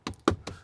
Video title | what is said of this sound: Lepas E4 2026: Pemain Baru EV Rp 300 Jutaan | Ini plastik keras tapi yang di lapis gitu. Jadi kerasa gitu di ini ada bunyinya